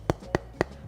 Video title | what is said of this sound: PENGARUH MATERIAL SPEAKER MOBIL PADA KUALITAS & KARAKTER SUARANYA - TES HASIL SUARA - THE INSIGHT | ada sifat damping yang lebih besar di paper dibanding atau kertas dibandingkan aluminium